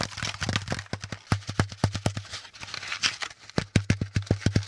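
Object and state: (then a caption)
Corrugated cardboard packaging insert. A brown corrugated cardboard packaging insert, with a flat top and a pleated hollow underside, is tapped with the fingertips of both hands. The result is a rapid, uneven run of short, dull, hollow thumps with a low resonance around 100 Hz and a papery, crackly rustle. Each tap dies away almost at once.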